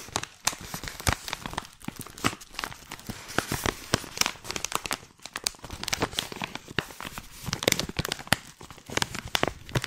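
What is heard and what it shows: A hand-sized, filled white printed stand-up plastic pouch of Tiora loose tea is squeezed and crinkled with long painted nails and fingertips. Dense, sharp crackles and crinkling snaps sound continuously, bright and crisp, with almost no ring and frequent louder pops throughout.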